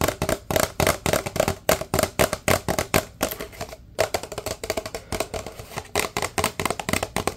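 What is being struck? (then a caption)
Paper drink cup. A large, empty, hollow paper drink cup is held upright and tapped rapidly with the fingertips of both hands. The result is a fast, uneven run of short, dry, hollow knocks with a woody tone around 600 Hz, each dying away almost at once. There is a brief pause just before the four-second mark.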